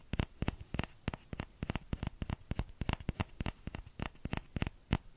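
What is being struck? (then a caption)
Small plastic ladle. Fingertips tap the hollow bowl of a small orange plastic ladle in quick, uneven bursts. Each tap is a short, dry click with a low thump and a bright top that dies away almost at once.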